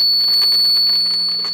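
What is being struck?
Nothing is struck.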